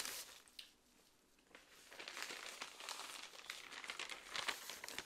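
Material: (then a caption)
Paper. The pages of a stapled paper magazine or brochure, held in one hand, are flipped with the fingers. The result is soft, bright, irregular crinkling and rustling: a brief rustle, a quiet pause, then denser, steadily louder page crackles.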